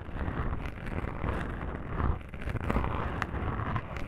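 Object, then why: Foam microphone windscreen. Long pink nails scratch across black foam microphone windscreens, producing a dense, muffled, low rumbling scrape with soft crackling bursts. The sound is continuous and deep, with almost no bright content.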